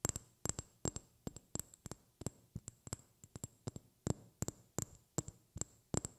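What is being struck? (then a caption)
Small glass vial. A small, clear, hollow glass vial or tube, held up close to the mic, is tapped with long red-painted fingernails. About 26 quick, dry taps land in an uneven rhythm, often in pairs. Each has a bright, clicky top and a faint low hollow body around 137 Hz that dies away almost instantly, all at a quiet level.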